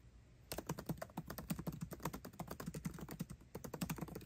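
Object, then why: Laptop keyboard with plastic keycaps in an aluminium body. Fingertips type fast on a MacBook Pro's built-in keyboard, with plastic keycaps set in an aluminum body. After half a second of quiet, a rapid run of about 32 short, dry keystrokes follows, each a soft low clack that dies away almost at once.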